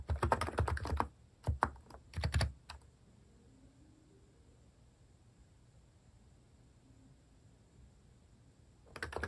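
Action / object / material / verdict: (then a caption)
tap / plastic keyboard with plastic keycaps / plastic / none. Fingertips type steadily on a compact plastic mechanical keyboard with plastic cat keycaps, giving quick bursts of soft, clicky, thocky keystrokes over the first few seconds. A long stretch of near-quiet with only a faint low background hum follows before the typing starts up again at the end.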